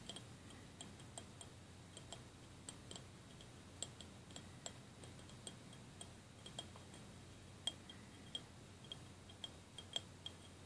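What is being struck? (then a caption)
Small glass cup with plastic beads. A small clear glass jelly cup with a printed label and a layer of white plastic beads on the bottom is held in both hands and tapped and clicked with fingernails on the outside of the glass. The result is a quiet, irregular series of sharp, bright ticks with a faint glassy ping around 3.2 kHz that dies away almost instantly, over a low, steady background hiss.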